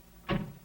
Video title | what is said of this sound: What Happened to Car Commercials Like These? | When you slam the trunk lid of a Ford, for instance, you hear a good, solid sound.